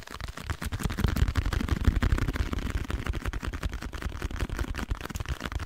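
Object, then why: Small cardboard box. A small blue printed packaging box, likely cardboard and hollow, is held in both hands and tapped and scratched with fingernails. The result is a dense, continuous run of soft, hollow, low thuds mixed with a dry scratching texture, with each tap dying away almost instantly.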